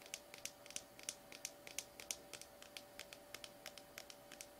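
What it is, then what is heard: Plastic slime tub. Fingernails tap and scratch the labeled side of a small, sealed cylindrical plastic slime tub, presumably full, which is tilted toward the end. About 27 quick, bright, dry clicks and scrapes come in an uneven rhythm, each dying away almost instantly. A faint steady hum sits underneath.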